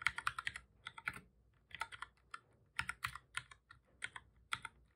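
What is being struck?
Plastic computer keyboard.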